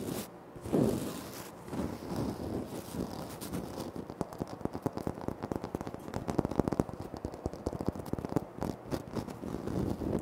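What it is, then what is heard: Granite floor tile. Fingertips tap and scratch across a flat, solid, speckled granite floor tile, with the hands briefly reaching further out at the start. The sound is a dense run of short, dry clicks and soft scratching, warm and low-mid with little brightness and no ring.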